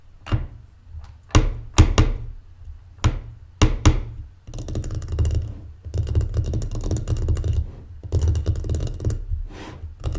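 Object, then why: Closed wooden mancala board. A folded, closed, solid light wooden mancala board lying on a table is tapped and drummed with the long painted fingernails and fingertips of both hands. Sharp, separate taps with a deep, hollow low thump come first, then give way to quick, continuous drumming rolls. Each strike dies away almost instantly.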